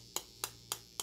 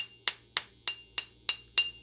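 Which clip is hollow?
The first.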